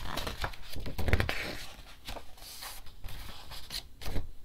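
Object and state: Paper picture book (pages flipped).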